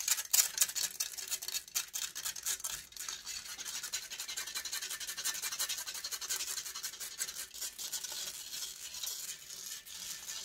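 Long nails scratch rapidly back and forth across the hollow metal mesh grille of a large silver condenser microphone. The result is a dense, irregular stream of dry, bright rasping strokes with almost no low end, louder in the first few seconds before settling into a steady scratching.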